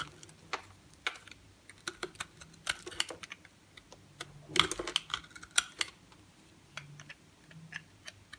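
A box-cutter blade shaves and carves a solid green bar of soap held in the hand, with other soap bars resting on the table, slicing it into flakes with scraping cuts. Short, crisp, bright scrapes and clicks come in an irregular series, some louder and denser in the middle, each stopping almost at once over a quiet background.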